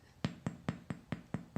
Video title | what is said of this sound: How to make sourdough bread from a starter | the bottom here is nice and Hollow